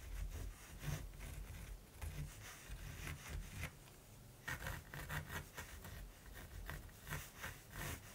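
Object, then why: Pencil tip on primed fabric canvas. A black mechanical pencil tip scratches and rubs across a large, flat primed linen or cotton canvas lying solidly on a table while a raven is sketched. Dry, papery scratching strokes come in uneven bursts with short quiet gaps, carrying a soft low rumble beneath a bright, hissy grain.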